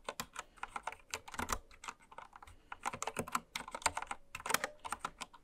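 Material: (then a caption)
Plastic. Continuous typing on a full-size, white-cased Candy Series mechanical keyboard with pastel plastic keycaps, resting on fabric and struck with long red acrylic nails and fingertips. Quick, dry plastic clicks and clacks patter in uneven bursts, each dying away almost instantly, with a bright mid-to-high clatter and little low end.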